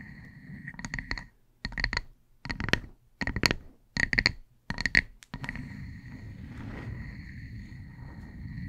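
A solid, palm-sized wood slice coaster, a flat round slice of light-coloured wood, is held over a fluffy microphone and tapped and scratched with the long acrylic nails of both hands. Quick bursts of crisp clicking taps with a bright ring near 2 kHz come in short clusters separated by brief silences. A low rumbling hiss runs under the taps and continues steadily after they stop.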